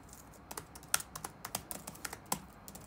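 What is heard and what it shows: Fingertips tap on the black plastic keycaps of a dark laptop keyboard resting on a wooden desk. The result is a quick run of light, bright, dry clicks with almost no ring, a few landing a little harder than the rest.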